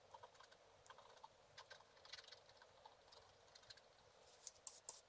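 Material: Coated paper.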